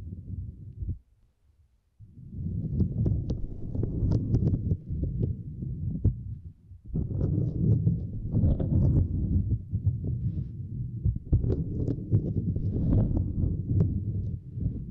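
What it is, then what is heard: Silicone grid mat. Two index fingers with long nails tap and scratch a small, flat purple silicone grid mat resting across a microphone. The result is a dense, muffled stream of low thuds and rubbing, with occasional faint bright clicks. It pauses briefly near the start and again just before the middle.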